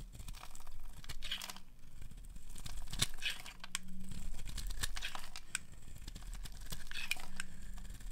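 A metal blade scrapes and carves curls off the edge of a solid pink oval bar of dry soap held in a hand with long nails. Crisp, brittle scraping and crackling bursts come in uneven strokes over a steady low hum, each stroke ending dry and short with no ring.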